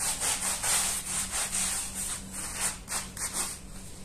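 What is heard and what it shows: A hand scrub brush scrubs the pile of a small, dirty, patterned woven wool rug, wet with soapy foam, on a stone tile floor while the other hand steadies the rug. Repeated wet, bright, hissing strokes come in an uneven rhythm, with a faint steady low hum underneath.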